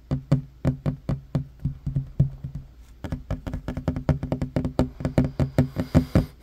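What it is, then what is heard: Wooden table top. Fingertips and short nails tap quickly on a flat, solid wooden table top, giving a run of about 34 short, dry knocks with a low, woody body that die away almost at once. The taps start in a loose, uneven rhythm, then come faster and more evenly spaced after about three seconds, with a faint bright click on some strikes.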